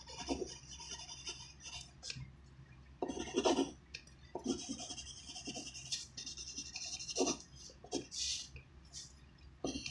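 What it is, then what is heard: Pencil writing on paper. A graphite pencil tip writes on a thin white handwritten sheet of paper resting on a wooden desk. Irregular bright scratching and rasping strokes are heard, with louder bursts of the pencil dragging across the paper between softer stretches.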